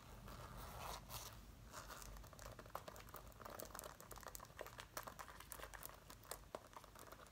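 Fingertips with red-painted nails scratch and rub the front panels near the zipper of a dark brown faux leather zip-up jacket being worn, with both hands on the jacket. A steady crinkling, scratchy rustle is heard, broken by many sharp, bright ticks and crunchy snaps over a low background rumble.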